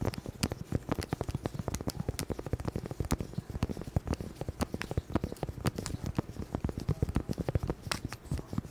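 Gloved hands with long, hard plastic claw-like nails tap and scratch the surface of a small, solid, round, flat tan cork board held close to a microphone. The result is a dense, steady patter of quick, dry, dull taps with very short decay, heavy in low tones, mixed with light scratching.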